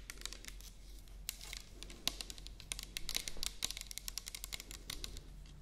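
Long nails tap rapidly along the body of a medium-sized orange plastic toner bottle with a white cap, which appears to be filled. The quick, light, clicky taps are bright and very short, with a few sharper accents, over a faint steady low hum.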